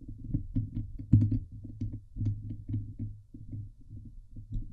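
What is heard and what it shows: Long nails scratch the hollow steel wire-mesh grille on the head of a Blue Yeti microphone. The result is a series of dull, boomy, rumbling scrapes centered around 105 Hz with almost no high end, pulsing unevenly and peaking in a sharp burst just after one second.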